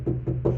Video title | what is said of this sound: 2nd Gen Ram Interior Refresh | That sounds a little more muffled